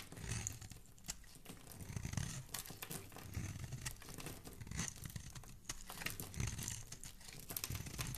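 A metal blade scrapes and carves shavings off the edge of a solid, rectangular, palm-sized pink soap bar with an embossed logo, held in one hand. The result is a steady run of dry, crackling scrapes and crisp crunchy flicks over a low, dull rumble, with short bright crackles that cut off almost instantly.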